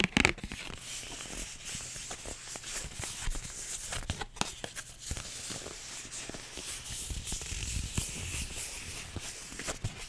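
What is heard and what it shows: Long nails tap rapidly across a flat, empty pink paper envelope, like fingers typing on a keyboard. The result is a steady, dense stream of crisp, bright, papery clicks with a faint low hum beneath.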